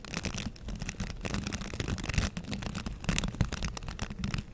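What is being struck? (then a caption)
Plastic bristle scrub brush. Fingertips scratch and brush the bristles of a green plastic scrub brush held close to the microphone. The result is a steady, dense, scratchy rustle with a heavy low rumble and bright crackle on top, swelling into louder bursts throughout.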